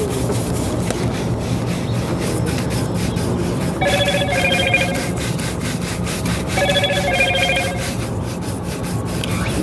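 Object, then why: Leather boot brushed with a horsehair shoe brush. A brown leather ankle boot, worn on a foot at an outdoor shoe-shine stand, is brushed back and forth with a hand-held, wooden-backed horsehair shoe brush. Steady, rapid scratchy rubbing strokes continue throughout. Twice, a bright, electronic, phone-like ringing tone rises over the brushing.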